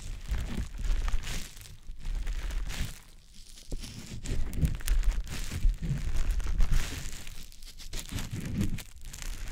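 A small, soft, damp green teardrop-shaped konjac puff is held in the fingers and rubbed and squished over the silicone ear of a dummy-head microphone. The result is a continuous, close, low-heavy stream of wet squishing and crinkly rubbing that swells and eases over the clip.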